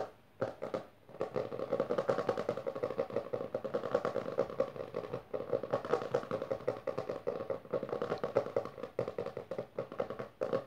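Long nails on both hands rapidly scratch and tap the lower half of a closed, solid hardcover book with a textured maroon cover resting on purple fabric. The result is a dense, continuous stream of dry clicks and scratchy rasps with a hollow midrange tone and very little low end, broken by a few brief pauses.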